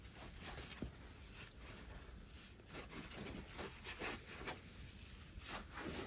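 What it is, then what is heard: Dry foam scrub sponge being squeezed and rubbed. A dry, hand-sized rectangular kitchen sponge of yellow polyurethane foam with a green abrasive scouring layer is squeezed, bent and rubbed between fingertips over an empty white plastic basin. It makes a quiet, continuous scratchy rubbing with repeated rough crackling bursts and a bright hiss over a low rumble.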